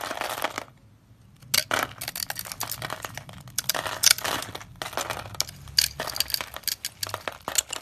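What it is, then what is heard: Dry soap bar, crunchy. A utility knife blade scrapes across a solid, hand-sized, olive-tan dry soap bar scored in a grid, crunching off small cubes. Dense, bright, dry crackling crunches and scrapes come in rapid bursts, with a brief quiet pause near the first second. Each crunch stops sharply with almost no ring.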